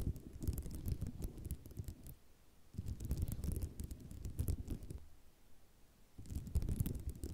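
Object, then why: Ceramic mosaic tile sheet. Long nails scratch back and forth over a white ceramic mosaic tile sheet in three bursts separated by short quiet gaps. The scratching is a dense, gritty rasp heavy in low rumble, with faint bright ticks on top.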